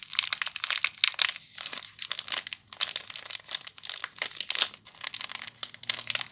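Fingers and long nails crinkle the loose clear plastic wrap around a small soap bar with a crimped seal. Dense, bright crinkling and crackling comes in uneven bursts with brief pauses between them. The sound sits almost entirely in the high range, with no low-end body and quick, dry decays.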